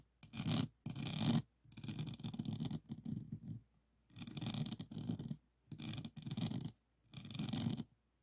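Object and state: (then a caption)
Resin diamond painting board. Fingertips of both hands scratch and tap across a small framed diamond painting of a Provence lavender scene, covered in faceted resin drill beads on a flat board. The result is bursts of dense, gritty scratching, low-heavy with some bright edge, separated by brief silences.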